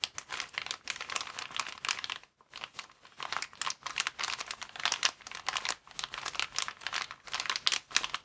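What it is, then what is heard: Plastic air-column packaging bag crinkling. A clear plastic air-column packaging cushion, held upright over a table, is squeezed and rubbed with both thumbs. This makes dense, bright crinkling in rapid bursts, with brief pauses near 2.3 and 5.8 seconds. There is almost no low end and the sound is crisp and dry.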